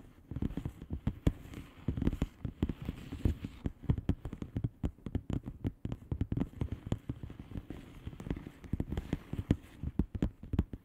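Long painted fingernails on both hands tap and scratch the bubbles of a blue plastic bubble wrap mailer lying flat. The result is a dense run of quick, dry, low-weighted clicks with a light scratchy rustle between them. Each tap dies away almost at once.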